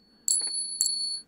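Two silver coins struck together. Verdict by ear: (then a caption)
Real. Two real silver coins are pinged together several times, each strike giving a bright, high ring with a higher overtone that sustains clearly between strikes. The coins are genuine silver, and their ring is markedly different from counterfeit coins.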